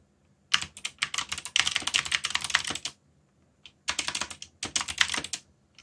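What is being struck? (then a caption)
Mechanical keyboard with plastic keycaps. Fingertips type on a backlit mechanical keyboard with plastic keycaps, producing rapid, bright clicky keystrokes in three bursts separated by short pauses. The clacks are sharp and dry with almost no low end and very little ring.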